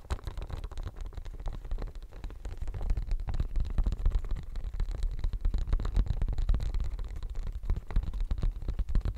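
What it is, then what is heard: Silicone studded pencil case. Fingernails scratch and tap the studs of a pink, bumpy silicone studded pencil case held close to the mic. The result is a dense, irregular stream of quick scratches and soft taps that sounds muffled and rumbly, with almost all its energy very low. It grows slightly louder after the first few seconds.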